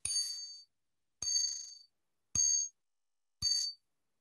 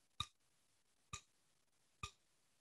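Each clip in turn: First: Four bright metallic strikes, each ringing in clear high tones for about half a second: a resonant metal tweeter housing. Second: Three short, dry ticks die away almost instantly; the solid tweeter housing is well damped and does not ring.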